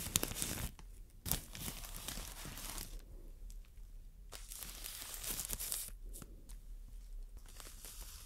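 Long nails scratch and squeeze the clear plastic wrap around a green solid floral foam brick, making bright crinkling and scratchy rustles. Loud crackling bursts come early and again near the middle, with quieter, steady scratching in between.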